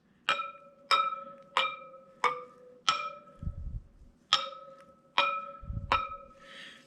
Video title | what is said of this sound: 2023 Harley Davidson Pan America 5000 Mile Service Part 2: Checking and Setting Drive Chain Tension | they don't all have to have the same tone if you notice some of them have a little bit different tone